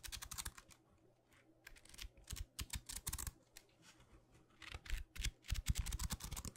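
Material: Paper.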